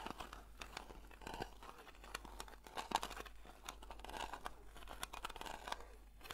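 Long nails slowly scratch the printed lid of a round blue metal Nivea cream tin. The result is a quiet, continuous rasping scrape full of tiny clicks and ticks, centered in the mid-range with a bright, hissy edge.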